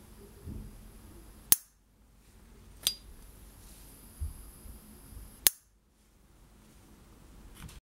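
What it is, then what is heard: Metal lighter lid ping. The lid of a rare 1970s S. T. Dupont Ligne 1 metal gas lighter is opened, giving its authentic ping sound. Three sharp, bright metallic pings are heard, each very short, with a high ringing tone. Quieter handling noise fills the gaps between them.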